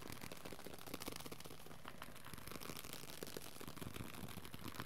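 A small pocket-size paperback of the Dhammapada, a Shambhala Pocket Classic with solid paper pages and a card cover, is held close to the camera in both hands and tapped and scratched quickly with the fingertips. A dense, steady stream of soft, dull taps and papery scratches runs throughout, with quick, close-up clicks over a low rumble.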